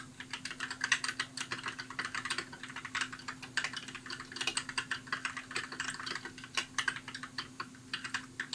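Fingertips type steadily on a compact white mechanical keyboard with plastic keycaps, producing a quick, continuous run of bright, crisp clacks that die away almost instantly. A faint steady low hum sits beneath the keystrokes throughout.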